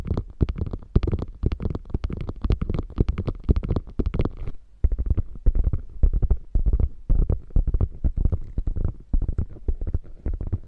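Long nails scratch along the flap edge and stitched seam of a small, hollow, beige quilted faux leather bag, then scratch across its quilted top. Rapid, closely spaced scratching strokes sound deep and thumpy through the hollow bag. The first few seconds carry a brighter rasp, and the later scratching on the quilted top sounds duller and softer.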